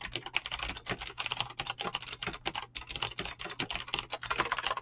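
Fingertips type fast on a mechanical keyboard with clicky green switches and PBT plastic keycaps. A rapid, steady stream of sharp, bright clicks, each dying out almost instantly, with a faint low hum underneath.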